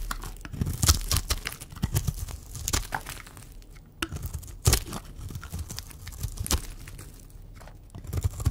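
A blue and white striped oval bar of dry soap, held in the hand, is scraped with a utility knife blade and scissors. Irregular dry scraping and crumbly, tearing crackles sound with bright edges over a low, dull rumble, with a few sharper, louder scrapes standing out.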